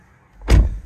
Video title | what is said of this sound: MINI Cooper SE Overview and Review - 2023 | built very solid you can hear that door closed